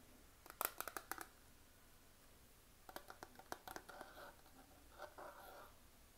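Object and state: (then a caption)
Plastic eyeshadow palette. A small hollow plastic eyeshadow palette with a clear printed plastic lid, closed and held in both hands, is tapped and scratched with fingernails. Two quick bursts of sharp, dry clicks with a mid-high plastic ring are followed by short, brighter scratching rubs. Each tap decays almost instantly against a quiet background.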